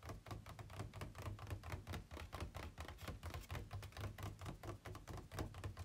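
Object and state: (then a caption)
Plastic packaging tray tapped. Fingertips and nails tap rapidly on the inner walls of an empty, hollow, ribbed white plastic packaging tray held at a tilt. The result is a steady run of short, dull, hollow knocks with a low body and faint bright clicks, each dying away almost at once.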